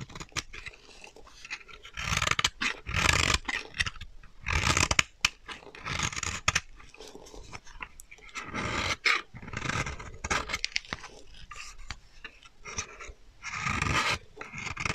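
A solid, dry, translucent orange bar of soap held in the hand is scraped with a metal utility knife blade, grating off fine shavings. Bright, crunchy scraping strokes come in bursts of varying length with short pauses between them, and each stroke stops dead with no ring.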